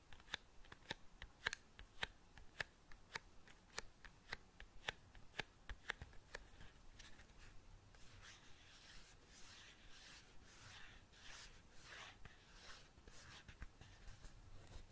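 Long painted nails tap a small, closed, hollow cardboard matchbox with a colourful diamond pattern, making quiet, sharp, bright clicks with almost no ring for the first half. The tapping then gives way to softer, breathy scratching bursts of the nails dragging across the cardboard.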